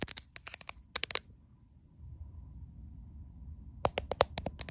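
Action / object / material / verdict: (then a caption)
tap / smartphone with a glass back / glass / none. Long painted acrylic nails tap and scratch the glass back and camera bump of a caseless white smartphone held in one hand. Quick bursts of sharp, dry clicks and scrapes come first, then a quiet pause with low hum, then another rapid flurry of crisp taps.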